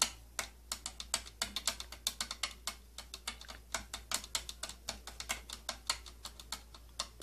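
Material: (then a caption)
Plastic. Long nails tap and scratch on the purple plastic body and slotted rim of an old tattoo kit case, making a rapid, irregular run of short, bright, dry clicks that stop almost instantly. A faint, steady low hum sits underneath throughout.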